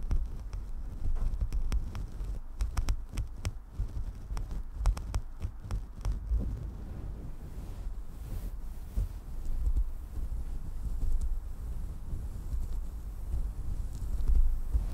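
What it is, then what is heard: Synthetic fur microphone windscreen being scratched. Long dark nails on several fingers of both hands slowly scratch a fluffy synthetic faux-fur windscreen covering a desktop microphone, with fewer, spaced-out strokes. The result is a deep, muffled, rumbling scratch with soft thumping pulses, its energy almost entirely in the low bass around 60 Hz and no brightness on top.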